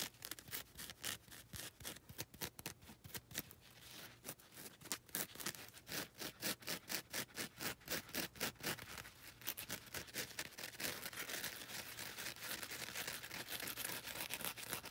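Long red nails scratch the gritty top and sides of a grey and lilac foam nail buffer block. The result is quiet, dry, bright rasping in quick, uneven strokes that blur into a steadier continuous scratch toward the end.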